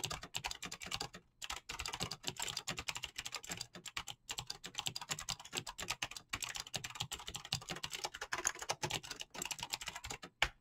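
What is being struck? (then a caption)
Mechanical keyboard with plastic keycaps. Fingertips type fast on an RGB mechanical keyboard with green clicky switches and PBT plastic keycaps, producing a dense stream of sharp, bright clicks with very short decay. Brief pauses break up the typing near 1.3, 4.2 and 10.3 seconds, and a louder single keystroke lands near the end.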